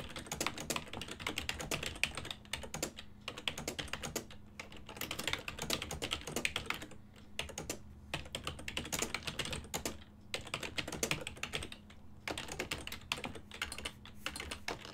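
Fingertips type fast and continuously on a full-size ergonomic silver and black plastic desktop keyboard with hollow key switches. The result is a dense stream of sharp, bright, hollow clicks with very short decay, broken by brief pauses. A faint steady low hum runs underneath.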